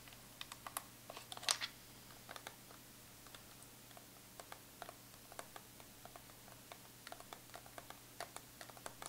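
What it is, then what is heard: Metal tin palette tapped with nails. Long pointed acrylic nails tap rapidly on the embossed squares of the lid of a closed Too Faced Chocolate Bar eyeshadow palette, a hollow metal tin lying flat on fur. About two dozen quick, sharp, bright clicks and ticks with almost no ring come in irregular bursts, the loudest cluster near the start, over a faint steady low hum.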